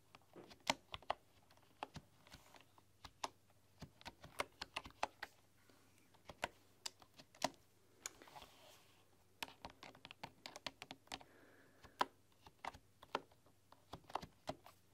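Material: Bamboo.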